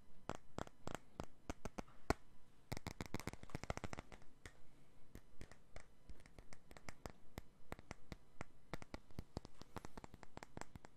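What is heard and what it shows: A clear glass perfume bottle is held in both hands and tapped and scratched with the fingertips and nails. The result is a quiet stream of many sharp, short taps and light scratching, bunched densely around the third and fourth seconds and then spaced more loosely, with no ringing after each tick.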